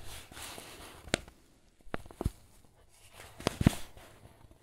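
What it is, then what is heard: Paper flour bag. Fingers rub and squeeze the creased paper of a filled white paper flour bag. A soft, low rustle runs throughout, broken by six sharp, bright crackles of the paper, each dying away almost instantly.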